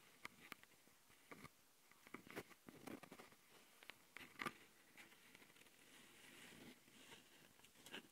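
Long fingernails on one hand tap and scratch the top panel and microphone capsules of a handheld plastic Tascam audio recorder. Quiet, sharp, bright clicks are scattered over a soft, dry scratching rustle, with almost no low end and no ring after each tap.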